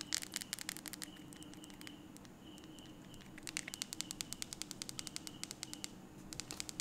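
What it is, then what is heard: Plastic keypad mobile phone. Fingertips and a thumb quickly press and tap the rubbery beige keys of a small blue plastic feature phone held in one hand. The result is rapid bursts of sharp, bright clicks with brief pauses between runs, over a faint steady tone and quiet low hum.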